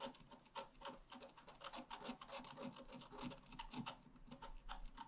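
A wooden stylus tip scratches along the bottom grass area of a flat, black wax-coated scratch-art card, a solid thin card about A5 size lying on a table. Quick, repeated dry rasping strokes come in uneven bursts with a bright, gritty edge and almost no ring after each stroke. The result is a quiet, continuous scraping texture.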